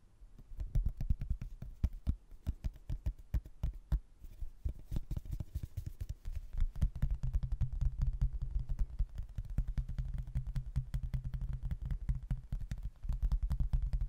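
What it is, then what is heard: Cork-backed hardboard placemat. Fingertips and nails tap rapidly across the glossy surface of a thin, solid, laminated cork-backed hardboard placemat with a castle print. The taps come as a dense, continuous patter of short, dry knocks with a low, thudding body and sharp clicky edges that die away almost instantly.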